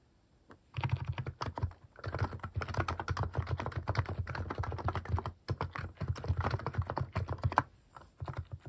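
Fingertips type steadily on a compact mechanical keyboard fitted with cat-shaped plastic keycaps. Fast runs of short, clacky keystrokes with a deep, thocky body stop and start, with brief pauses just before 2 seconds and near 5.5 seconds.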